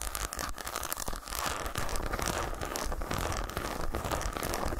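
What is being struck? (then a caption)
Segmented milk chocolate bar. Long nails scratch and tap across the segmented front of a solid milk chocolate bar resting on a towel. The result is a steady, dense run of dry, crinkly scratching and quick, muffled taps with a soft low thump underneath, holding at an even level throughout.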